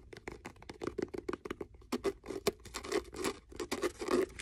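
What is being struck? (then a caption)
Faux leather hardcover notebook. Fingernails scratch along the cover, spine and page edges of a blue faux leather hardcover notebook held in the hand. A rapid run of short, dry scratching strokes, with a midrange body and a bright hiss on each pass, sometimes pattering quickly and sometimes dragging longer. The strokes stop dead with no ring.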